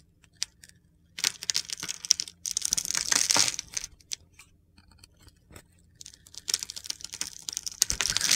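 A utility knife blade scrapes crunchy shavings off a solid pale green bar of soap with a blue glitter coating, held in the hand. Bright, gritty scraping and crackling come in bursts separated by short quiet pauses, with no low rumble beneath.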